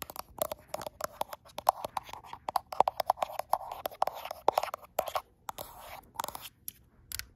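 Long almond acrylic nails tap and scratch the frosted glass back of a gold iPhone Pro, which is also the recording microphone. Close, dry clicks come in rapid irregular bursts over a mid-range scraping hiss around 800 Hz, with occasional bright, sharp ticks and brief quiet pauses.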